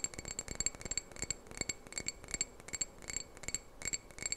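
Fingernails tap and scratch a small hollow red glass candle jar, held in both hands with a lit candle inside. The result is a quick, irregular stream of bright, high glassy clicks and brief rings, with soft scratchy rubbing between them.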